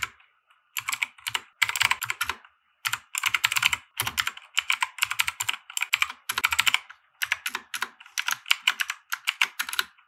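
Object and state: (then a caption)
Plastic mechanical keyboard being typed on. Fingertips of both hands type on a compact 60% mechanical keyboard with white plastic keycaps and RGB lighting, resting on a felt desk mat. Bursts of quick, bright, clacky keystrokes with short, dry snaps are separated by brief pauses.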